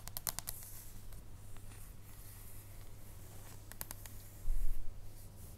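Long nails tap and scratch on the back and edge of a solid dark chocolate bar held in the hands. A quick cluster of sharp, bright clicks comes at the start and another later on, over a steady low hum. A dull low thump follows near the end.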